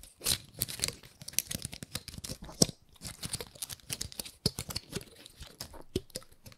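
Long nails scratch and flick the scales of a dry, gold-painted pine cone. The result is a run of quick, dry crackles, clicks and crunchy rasps, bright and close, each dying away almost instantly between short gaps.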